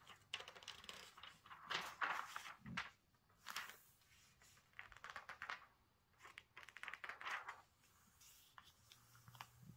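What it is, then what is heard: Glossy paper magazine. An open glossy magazine of thin coated paper lies on a table while fingertips and a palm rub and smooth its pages, then turn a page. The sound is soft, bright, crinkly rustling that comes in several separate swells with quiet gaps between them, with a duller swish as the page turns.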